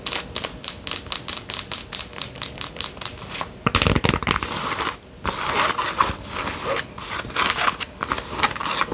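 Long fingernails tap quickly on a white Adidas fabric sun visor with a stiff brim, worn on the head, producing a fast run of crisp, distinct clicks for the first few seconds. The nails then scratch across the band and brim in a dense, bright, rustling scrape, with occasional taps mixed in.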